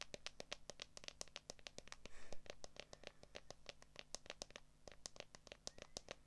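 A handheld smartphone in a solid, transparent plastic case is tapped and scratched rapidly on the case back with long acrylic nails. Dense, sharp, bright clicks come in quick succession over a low steady hum, with a brief louder scratchy rustle around the middle.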